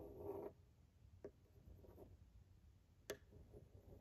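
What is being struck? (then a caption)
Glass pane of a framed picture. A pencil tip traces along the torso and arm lines of a drawing behind the glass pane of a wooden-framed picture. A brief, soft scraping rasp opens the clip, followed by two sharp little ticks of the tip against the glass over a quiet, low background hum.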